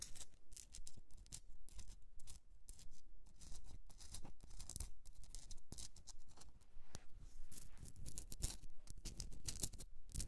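Long nails scratch the rough surface of a hollowed, pink rock-salt Himalayan salt candle holder as it is held and turned. The result is dense, gritty scratching in quick, irregular bright bursts over a low, soft rumble.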